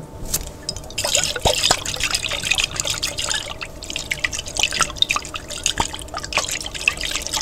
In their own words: ASMR Tapping On A Jar With Water